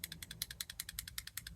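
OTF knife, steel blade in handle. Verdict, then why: Loose. A budget OTF knife with a steel blade in its handle is shaken front to back, giving rapid, bright metallic rattling clicks of about 17 quick ticks as the loose blade shifts inside. The rattle shows more blade play than expected, though the knife is still usable.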